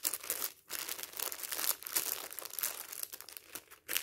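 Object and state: Crumpled plastic film wrapper.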